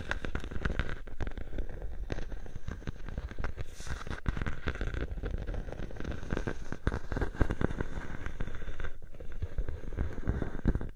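A clear plastic bubble wrap sheet draped over a microphone is scratched and pressed at its sides by fingers with long nails. The result is a steady, dense crackling and rustling with quick sharp ticks over a heavy low rumble, lasting the whole clip without a break.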